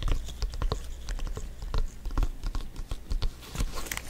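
A full-size blue stitched synthetic-leather soccer ball, hollow and inflated, is held in both hands and tapped with black-gloved fingertips. The result is a quick, uneven patter of soft, dull taps with a low thump, each dying away almost at once.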